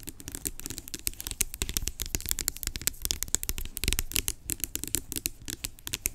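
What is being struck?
Plastic pump lotion bottle.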